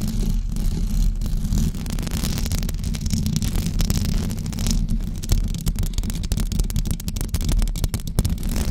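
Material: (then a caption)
Knit fabric. Long blue acrylic nails on both hands scratch a white knitted fabric cover stretched over a rounded microphone head. The result is a dense, continuous, deep and muffled rumbling scrape, broken by rapid bright crackles and ticks as the nails catch on the knit.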